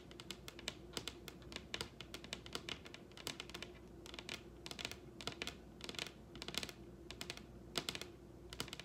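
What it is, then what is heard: Wooden tabletop tapped with fingernails. Long red acrylic nails tap a large, solid wooden dining tabletop in quick, rolling patterns. Crisp, bright clicks come in fast bursts, each dying away almost at once, over a faint steady background hum.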